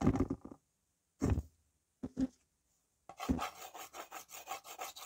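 A white slate pencil scratches across a small, flat, solid red-framed slate writing board held in one hand, with fingertips dragging the pencil over the surface. A few short, separate scratching strokes give way to a continuous, rhythmic run of scraping as the pencil draws circles on the slate, with a dry, gritty texture.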